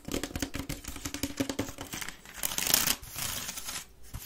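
A grey woven wicker waste bin, tilted on its side, hollow and empty, is scratched by long red nails along its rim and weave. Quick, dry scratches crackle with a bright, papery rasp and a faint hollow resonance. A louder, brighter sustained scrape swells near the middle before the scratching settles again.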